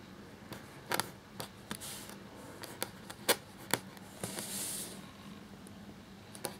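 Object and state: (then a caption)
Quill scratching on parchment paper. A black feather quill nib scratches across a thin cream parchment-style paper sheet lying flat while writing. Short, sharp scratchy ticks and quick bright strokes are heard, with a longer hissing scrape near the end over a faint low hum. The sounds are dry and stop almost instantly.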